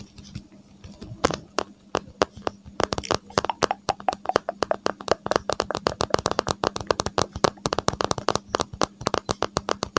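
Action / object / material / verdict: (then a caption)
tap / smartphone in a hard plastic case / hard plastic / none. A smartphone in a gold-edged hard case is held horizontally over the microphone while its back is tapped and scratched with fingertips and nails. Dozens of quick, dry, flat and solid clicks and taps come in a rapid, uneven stream, with brief scratchy bursts between them. A faint steady low hum sits underneath throughout.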